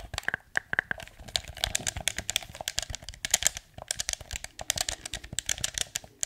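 Fingertips rapidly click the buttons and tap the surface of a hollow, blue hard-plastic PS4 DualShock 4 controller. The result is a fast, irregular stream of sharp, bright plastic clicks and taps with almost no ring.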